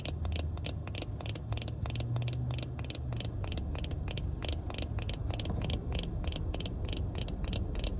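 Long painted fingernails tap and scratch a small pair of sunglasses with a black plastic frame and tinted lenses, held up in a hand. Rapid, sharp, bright clicks and scrapes repeat throughout over a steady low rumble.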